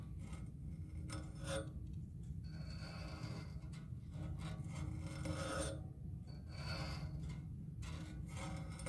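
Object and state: Metal music stand tripod base.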